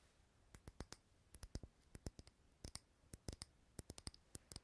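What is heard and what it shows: A lit candle in a small clear glass jar filled with green wax is held in the hand near the recorder and tapped on the glass with fingernails. About two dozen quick, dry, bright clicks fall in uneven clusters, each dying away almost at once, over a quiet background.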